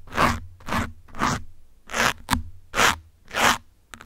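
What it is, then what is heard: Foam microphone windscreen scratched with pins. Metal pins scratch and poke a grey foam windscreen on a black microphone, producing eight separate bursts of broadband, crunchy scraping. Each burst swells and fades over about a third of a second, with one short, sharp poke partway through.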